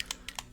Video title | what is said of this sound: Trying New Army Painter Fanatics Hobby Paint - Unboxing & Testing Miniature Paint | started rattling as soon as I started shaking it this must be a thinner paint